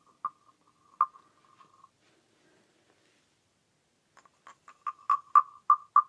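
A small, hollow, green carved wooden frog guiro is held in hand while its ridged back is scraped and rubbed with its wooden stick. Two short, dry croaking rasps centered near 1.2 kHz come first, with a faint trailing scrape, then a quiet pause. A quickening series of rasps follows, growing louder toward the end, each with a bright, clacky edge and almost no ring.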